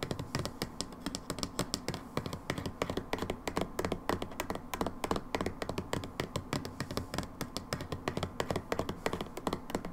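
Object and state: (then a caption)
Plastic bottle. Long nails tap rapidly and steadily on a labeled brown plastic hydrogen peroxide bottle for the full ten seconds. Each tap is a short, dry click with a hollow low body around 180 Hz and quick decay.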